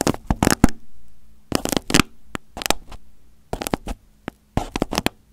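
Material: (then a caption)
Aluminium foil. A fingertip pokes, presses and crinkles crumpled aluminium foil wrapped over a hollow, hand-sized microphone head on a teal base. Close, bright crackling bursts come in short clusters separated by quiet gaps, with a faint low hum underneath. Each crinkle stops abruptly with almost no ring.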